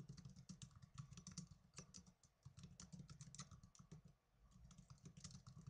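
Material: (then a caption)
Plastic. Fast two-handed typing on the plastic keys of a small black plastic netbook, with fingertips and blue nails tapping out a rapid, uneven stream of short, bright clicks. A steady low hum sits underneath, and the typing eases briefly before picking back up.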